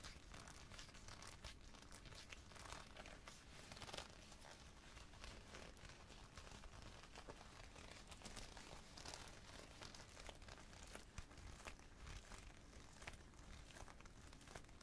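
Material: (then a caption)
Leather. Both hands squeeze and crumple the collar and lapels of a worn black leather jacket with their fingertips. The result is a steady stream of soft creaking, crinkling and crunching sounds with quick, dry transients. The texture stays close and quiet throughout.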